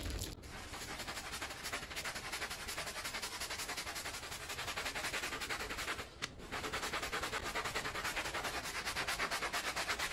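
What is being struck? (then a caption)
Woven pile rug scrubbed with a plastic bristle brush. A small, wet, foamy Persian-style woven pile rug lying flat is scrubbed with a small handheld blue plastic bristle brush while the other hand rests on the rug. Rapid back-and-forth strokes make a steady, bright, scratchy swishing hiss, with brief dips near the start and just past six seconds before the scrubbing picks up again slightly louder.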